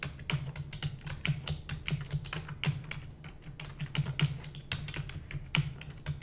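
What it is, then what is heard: Plastic computer keyboard being typed on. Long natural nails and the fingertips of both hands rapidly type on a full-size black plastic computer keyboard with purple backlight and hollow keys. A fast, uneven stream of crisp, bright clacks with short, dry decays rides over a steady low hum.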